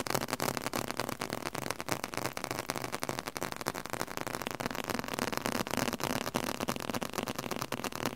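A leather-covered book is tapped aggressively, producing a rapid, uneven stream of dry, short taps that die away almost instantly. The taps have a muted, mid-toned body over a steady bright hiss, continuing without a break for the whole clip.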